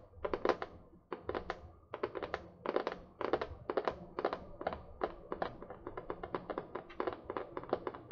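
Long painted nails tap and scratch the printed cardboard cover of a medium spiral-bound notebook held upright; the notebook is solid paper, not hollow. The sound is rapid bursts of dry, short clicky taps in the midrange, each dying away almost instantly, with quiet pauses between the clusters.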